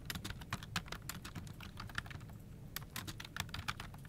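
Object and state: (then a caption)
Plastic computer keyboard being typed on. Both hands type with fingertips on a full-size plastic office keyboard resting on a desk, producing continuous quick key-tap clicks with bright, dry attacks that stop almost instantly. The typing pauses briefly in the middle before resuming, over a steady low rumble underneath.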